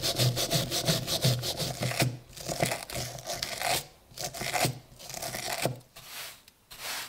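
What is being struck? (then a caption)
Iron hammer head scrubbed with a steel wire brush. A gloved hand scrubs a small, solid, rusty iron hammer head lying on a wooden block with a red-handled steel wire brush, raising rust dust. Quick, uneven back-and-forth strokes make a harsh, bright scratching rasp with a low thump under the first few strokes. The pace slows and the strokes grow softer and more spaced toward the end.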